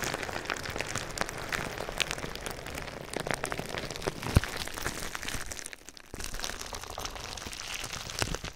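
Clear plastic bubble wrap with small air-filled cells, draped over a binaural microphone, is rubbed and pressed with fingertips. Dense crinkling and soft crackling run throughout, scattered with sharp pops, with a brief quieter lull near the end before the rustling resumes.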